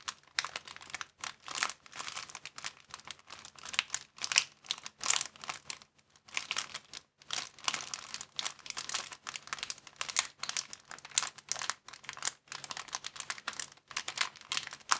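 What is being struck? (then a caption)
Thin plastic bag. A thin, empty clear plastic bag is held in both hands and scrunched and stretched with the fingers. It gives a dense, continuous run of bright, crackly crinkles in quick bursts with short pauses, mostly high-pitched with almost no low end. Each crackle snaps off immediately.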